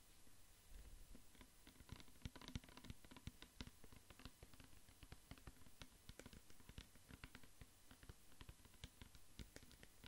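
A clear plastic pump bottle with a white pump, mostly full of amber liquid, is tapped and scratched with fingertips and nails. The result is a quiet, steady patter of short, dry taps with dull low thumps and light, bright scratching between them.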